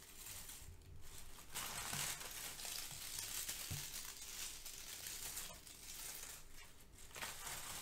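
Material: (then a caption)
Paper. Brown crinkle-cut kraft paper shred filler is pressed, crushed and rubbed between the fingertips of both hands. The result is a steady, bright rustling and crackling that swells and fades, with a few low soft thumps underneath.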